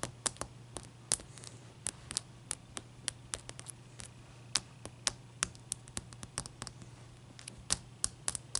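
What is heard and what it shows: Long painted nails tap and scratch a single large, clear, solid ice cube held on a white towel. The result is a quick, irregular run of sharp, bright clicks with very short decays over a steady low hum.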